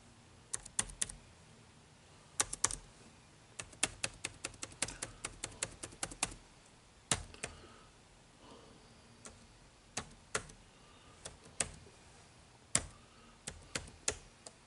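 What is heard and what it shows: Fingertips type fast on an HP laptop keyboard with dark plastic keys. The result is bursts of sharp, bright, dry clicks with quiet pauses between them.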